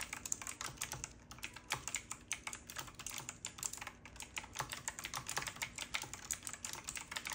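Fingertips type continuously on a full-size retro typewriter-style mechanical keyboard with round black plastic keycaps and a metal-looking frame. A rapid, steady stream of bright, crisp key clicks is heard, each one short and dry with almost no ring. A faint low hum runs underneath.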